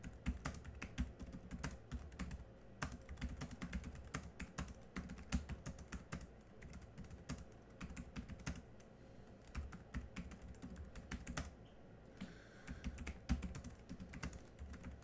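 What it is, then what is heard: Plastic laptop keyboard. Continuous two-handed fingertip typing on the black plastic chiclet keys of a small laptop's plastic keyboard produces a dense stream of soft, short clicks and dull low thuds that die away almost instantly. The rhythm runs steadily throughout, with a brief lull around the twelfth second before the typing picks up again.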